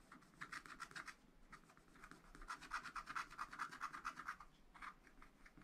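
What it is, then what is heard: Wax-coated scratch art paper being scratched. A wooden stylus scratches back and forth across wax-coated scratch art paper, a black coated sheet in a flat spiral pad, hatching a green tower area. Quick, fairly regular raspy strokes come in bursts with short pauses, centered in a dry midrange around 1.3 kHz with a bright, papery edge.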